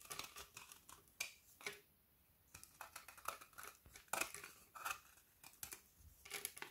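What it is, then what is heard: Frozen milk chocolate bar being shaved. A kitchen knife repeatedly scrapes along the edge of a solid frozen milk chocolate bar with hazelnut filling, held upright in one hand, shaving brittle chocolate curls that pile onto a wooden table. Short, bright, crisp scraping strokes come one after another, with a brief quiet pause early on. Each stroke ends quickly, leaving little ring.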